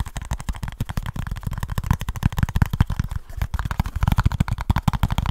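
Fingertips and short nails tap and scratch rapidly on a small kraft cardboard product box with a printed label. The result is a dense, fast stream of short, dry, hollow thumps, deep and low in tone, with only faint scratchy texture above them.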